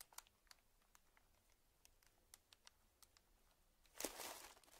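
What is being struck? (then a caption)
Small plastic zip-lock bag. A small, puffed-up clear plastic zip-lock bag lying on dark fabric is pressed flat by hands and crinkled with the fingers. Quiet, sharp, bright crinkles and ticks come at uneven intervals, then a louder, hissing burst of crinkling near the end.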